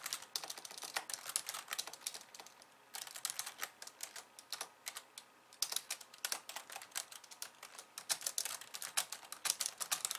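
Two hands with long nails type on a slim pink plastic keyboard with white keys. Rapid, crisp, bright clicking taps come in bursts with short pauses, each tap dying away almost instantly with no low end.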